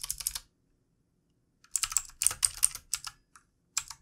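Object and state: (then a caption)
Plastic mechanical keyboard being typed on. Fingertips of both hands type on a full-size backlit plastic mechanical keyboard with plastic keycaps. Quick, bright, clicky keystrokes come in short bursts separated by a long pause and brief gaps. Each press is sharp and dry with almost no ring and very little low end.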